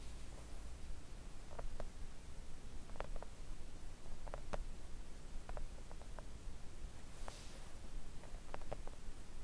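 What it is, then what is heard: Silicone nail art mat. Long acrylic nails on both hands slowly and gently tap a thin, solid, flat pink silicone nail art mat lying on a table. The taps are soft, short, muted clicks with a little brightness, spread unevenly over a steady low rumble.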